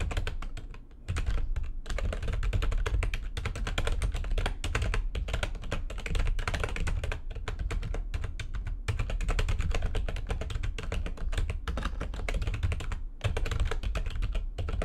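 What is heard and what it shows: A backlit plastic computer keyboard is typed on very fast with long nails and fingertips. The result is a steady, dense stream of clicky key taps with a heavy low thump beneath them, pausing briefly near the start.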